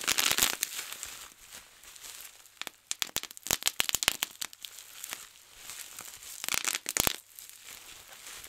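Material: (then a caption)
Plastic. A large, clear plastic bubble wrap sheet is rolled up, and both hands twist and wring it, bursting many bubbles. Sharp, bright pops and crackles come in clusters, densest at the start, around three to four and a half seconds, and again near six and a half to seven seconds. Softer crinkling of the plastic fills the gaps between them.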